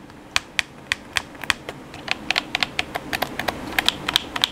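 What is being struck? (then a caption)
Plastic game controller. Fingertips rapidly tap the buttons of a hollow black plastic PS4 controller, producing 21 sharp, bright, dry clicks. The clicks have no ring and come faster and more densely toward the end over a faint steady hiss.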